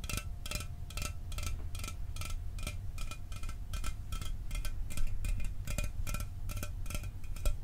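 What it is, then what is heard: Aluminum soda can. A sealed, hollow 12 oz Mountain Dew aluminum soda can is held in one hand and tapped steadily with the fingernails of the other. Each tap gives a short, bright metallic click with a brief tinny ring over a low, steady rumble.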